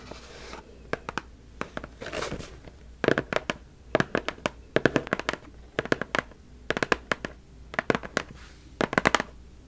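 A medium, hollow white cardboard mailer box is held up in both hands while long acrylic nails tap and scratch its flat top surface. Sharp, dry taps come in quick clusters, with brief rasping scratches between them and a soft hollow tone from the box.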